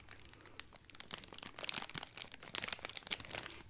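A small chocolate Santa figure in a clear cellophane bag tied with a red bow is held in one hand while fingertips and nails rub and crinkle the cellophane. The result is a steady run of quiet, bright, crisp crackles and crinkles, with sharper snaps scattered throughout and almost no low end.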